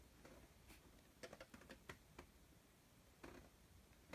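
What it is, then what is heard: Embossed leather bag tapped. Fingertips tap and scratch the brown embossed signature leather on the side panel of a medium Coach messenger bag, which is soft, padded and appears empty. Quiet, dry, short taps and light scratching rustles come in scattered bursts, with no ringing after each touch.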